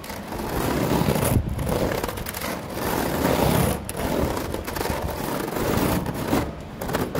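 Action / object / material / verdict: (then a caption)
scrape / woven synthetic rattan surface / plastic rattan / none. Fingertips and nails scratch and tap across a flat woven synthetic plastic-rattan surface, likely outdoor furniture. A dense, low-to-mid scraping texture rises and falls in uneven waves with brief quieter gaps between strokes.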